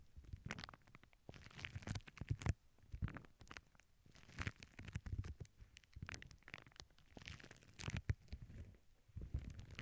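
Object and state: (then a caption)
Plastic bubble wrap. Long acrylic nails scratch across the surface of a flat sheet of clear plastic bubble wrap lying on a cork board. The result is quiet, bursty scratching and crinkling with a heavy low rumble, broken by short crackly bright streaks.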